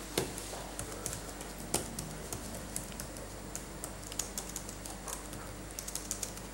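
Latex-gloved fingertips type and tap on the plastic keys of a dirty, backlit laptop keyboard during cleaning, making 23 irregular, short clicks with bright, quickly fading tops. A steady low hum runs underneath throughout.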